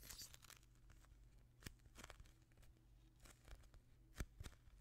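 A palm-sized soft polyurethane foam squishy toy shaped like a chocolate-glazed donut, a solid foam ring, is squeezed and pressed with the fingertips and thumbs of both hands. Quiet, dry crinkling and tearing-like crackles come in short bursts over a low steady hum, with sharper spikes near the end.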